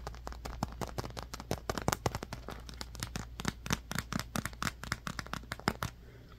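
Fingertips and nails rapidly tap and scratch a palm-sized, dark blue squishy foam stress cube printed "Believe you can," which has a smooth vinyl-like skin. The result is a dense run of short, dry, bright clicks and crackly scratches that stop almost instantly, over a steady low hum.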